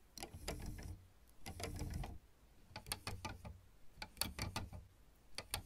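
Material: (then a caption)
Plastic. Long red nails scratch and tap across plastic piano keyboard keys. Two rasping scratch passes with a low rumble underneath give way to a string of sharp, bright clicking taps that stop dead with no ring.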